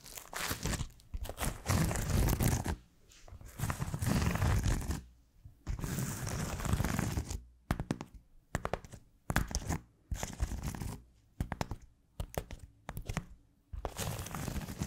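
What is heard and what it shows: A round, white, hand-sized smiley-face scrub sponge (Scrub Daddy style) made of solid, textured polymer foam is scratched and tapped with long almond-shaped acrylic nails. Longer stretches of low, rough scratching alternate with clusters of short, dry, crunchy taps separated by silence.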